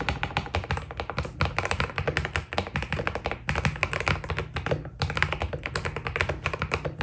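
Fingertips type rapidly on a white Keydous NJ80 mechanical keyboard with PBT plastic keycaps. Dense, short key taps combine a deep thock with bright clacks that stop dead. The steady typing pauses briefly around 3.5 and 5 seconds.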